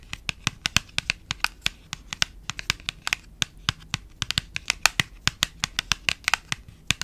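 Long nails tap and scratch the flat faces of a small cream printed paperboard box held close to the mic. About 38 sharp, dry, bright clicks come in an uneven rhythm, with a soft scratchy rustle between them. Each tap stops almost at once, with no ring.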